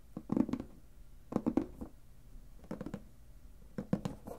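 Fingertips tap the sides of a clear plastic lidded box filled with paper, then tap and scratch across its lid. The result is four short bursts of quick, dull, hollow taps with a low-mid tone and almost no ring or bright content, separated by quiet gaps.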